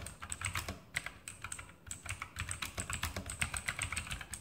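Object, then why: Mechanical keyboard with plastic keycaps on a metal plate. A full-size RGB mechanical keyboard with Outemu blue switches, plastic keycaps on a metal top plate and hollow switch housings, is typed on rapidly with fingertips. The result is a quick stream of sharp, bright clicky keystrokes over a light low thud.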